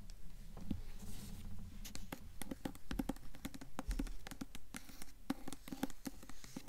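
Long nails tap and scratch the paper dust jacket of a blue hardcover book, which is held at an angle and later tilted. The result is a quick, uneven patter of short, dry, low taps with no ring, mixed with soft scratching.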